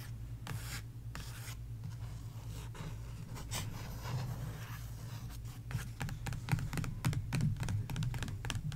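Fingertips and long nails rub and tap the glossy paper sticker pages of an open sticker book. Soft, continuous scratchy rubbing in the first half gives way to sharper, irregular taps in the second half, all over a steady low hum.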